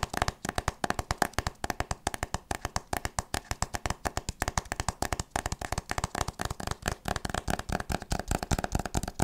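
A solid hardcover book with a printed board cover is held upright and tapped and scratched with long nails and fingertips. A rapid, steady stream of short, dry clicks and knocks is heard, with a hollow mid-range tone and soft scratchy texture between taps. Each tap dies away almost instantly.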